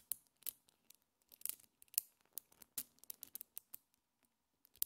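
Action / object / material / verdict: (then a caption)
tap / small neodymium magnet balls / metal / none. A small cluster of colorful solid metal neodymium magnet balls is held in both hands while fingertips and long painted nails pull the balls apart and snap them back together. The result is a quiet, irregular series of about fifteen sharp, bright clicks and small ticks, each dying away almost instantly, with little low-end weight.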